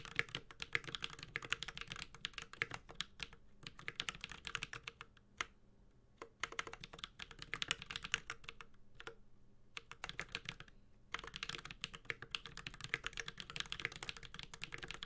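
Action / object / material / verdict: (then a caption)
tap / mechanical keyboard with metal case and plastic keycaps / aluminum, plastic / none. A Space65 Cybervoyager 65% mechanical keyboard, with a white-gold aluminum case, carbon fiber plate, plastic keycaps and Holy Panda tactile switches, is typed on steadily with the fingertips of both hands. It gives rapid, bright, short clacks with almost no ring and a faint low thock under each stroke. The bursts of typing are broken by brief pauses.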